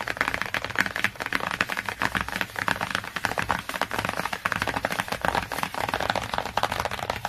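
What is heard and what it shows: Fingertips and nails tap and scratch fast across the glossy cardboard cover of a large hardcover children's encyclopedia book lying flat. The result is a dense, continuous stream of quick, dry, clicky taps mixed with scratchy rasps, with no voice.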